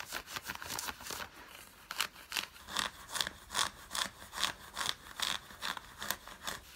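Long fingernails scratch the fabric of worn grey drawstring cotton fleece sweatpants. The result is a steady series of dry, bright, rasping strokes at roughly two per second, rapid and close together at first, then more evenly spaced, each one short with no ring.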